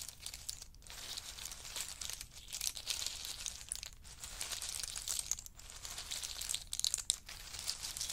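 A wooden spoon and a chopstick rake and stir a large pile of in-shell pistachios resting on a fur mat. The shells give off a dense, bright clatter of crisp clicks and rustles, with brief dips near 0.7, 4 and 5.5 seconds. There is almost no low end throughout.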